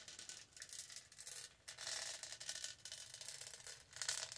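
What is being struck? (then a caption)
Studded plastic tumbler. Long nails rub and scratch across the studded body of a tall purple hollow plastic tumbler. The result is a bright, hissy scraping in uneven bursts with brief pauses, almost entirely high-pitched with almost no low end.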